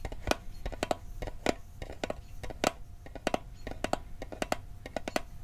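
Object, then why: Small metal mint tin. Fingertips tap the lid and sides of a small, hollow, rectangular metal Altoids mint tin held in the hand. An irregular series of quick, dry clicks follows, each with a brief hollow ping around 600 Hz and a bright edge that dies away almost instantly.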